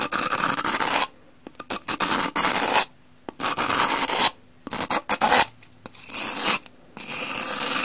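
A hand-held rectangular two-layer pumice block, solid and porous with a brown porous side and a cream side, is scraped with the edge of a teal-handled metal kitchen knife. Bursts of dry, bright, gritty rasping scratches alternate with short flicking strokes and brief silences, with almost no low end.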